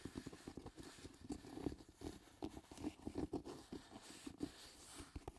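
Fingertips scratch and rub the leather upper near the laces of a black leather lace-up shoe with glue streaks, held in the hand. The result is a quiet, close run of short, dry scratching and rubbing strokes with a low-mid, slightly tonal scuff and little high-end hiss.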